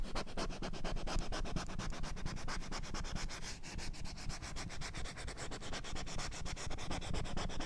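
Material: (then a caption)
Plastic. Long nails rub and scratch rapidly across the glossy surface of a small children's printed alphabet whiteboard with a green plastic frame while the board is tilted. A steady, dense stream of quick rasping strokes runs throughout, with a heavy low rumble beneath a bright scratchy edge.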